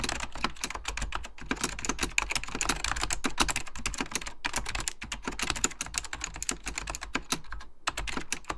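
Fingertips of both hands type steadily on a full-size beige plastic Apple Extended Keyboard II with mechanical key switches, under purple lighting. A fast, continuous stream of crisp, bright clicks and clacks rides over a low thocky body, each keystroke dying away almost instantly. Brief pauses break up the rhythm.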